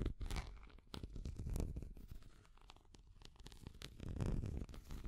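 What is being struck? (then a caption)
Small hard plastic figurine. A small translucent orange hard plastic cat figure is held close and tapped and scratched with long nails. The result is a run of quick crackly clicks and scrapes with a low, muffled rumble underneath, swelling and fading in loudness over the clip.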